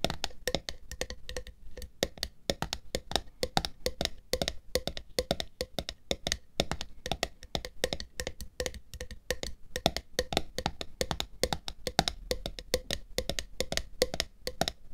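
Long nails tap rapidly and steadily on the flat top of a black screw lid on a glass jar filled with red water beads, held on its side. The taps are dry and clicky, with a short hollow tone around 770 Hz and a bright edge, each dying away almost at once.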